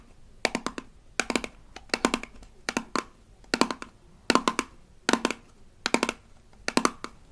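Long acrylic nails tap and scratch the label of a small, rigid plastic toy toothpaste tube from a Melissa and Doug Super Smile Dentist Kit. They come in nine quick bursts of dry, bright clicks over soft scratching, with a faint low tone around 260 Hz. Each tap dies away almost instantly.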